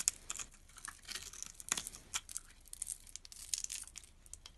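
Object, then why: Bar of soap cut with a knife blade. A utility knife blade scrapes across a solid teal bar of soap with a scored grid, held in the hand, and small cubes crumble off. The sound is a quiet, dry, bright crackle of quick scratchy crunches in an uneven series, with almost no low end and no ring.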